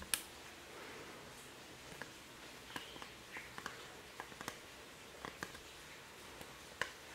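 Fingertips and nails tap and scratch a small, thin laser-cut MDF wood souvenir napkin holder engraved "Maceió AL," with an open fretwork top, held in the hands. Quiet, sharp, bright clicks with almost no ring come at irregular moments over a steady soft hiss, with faint scratchy rustles between them.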